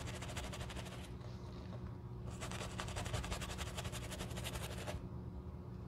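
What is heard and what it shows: A wooden-handled horsehair brush scrubs the foam-covered toe area of a black leather shoe, making rapid, bright bristly swishes in two bursts with a short pause between them. A steady low hum sits underneath throughout.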